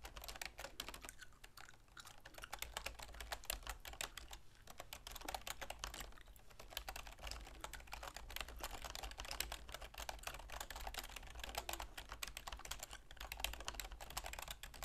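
Long manicured fingernails and fingertips type rapidly on a full-size black plastic keyboard with a silver plastic frame resting on a wooden desk. A dense, continuous stream of quiet, bright plastic clicks and taps runs throughout, each dying away almost instantly, over a steady low hum.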